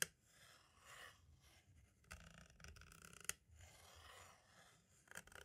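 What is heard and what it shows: A green-and-black striped tool traces and scratches across the label and near the window of a hollow plastic compact audio cassette. Quiet, bright, papery rasping strokes come in slow waves, with a few sharp clicks from the plastic shell.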